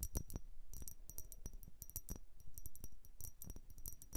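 A blue vase is tapped and scratched with quick, irregular strokes. The taps come out as bright, short clinking hits like dropped coins, with a soft scratching rasp between them.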